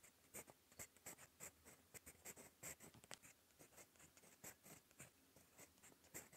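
A gold metal fountain pen nib scratches across a cream lined notebook page while writing, giving a quiet series of bright, crisp scratching strokes. The strokes come in short, closely spaced bursts with brief pauses between them.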